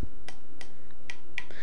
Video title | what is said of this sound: VORW Show 87: Fan Mail, General Talk, "Exciting" Topics | it usually has this little ring to it but you can't or it doesn't do that because it's full